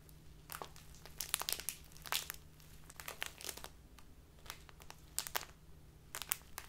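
A small plastic bag of tea standing on a table is squeezed and crinkled with both hands and long nails. Bursts of bright, crisp crackling come in irregular clusters over a steady low hum, and each crackle stops almost instantly.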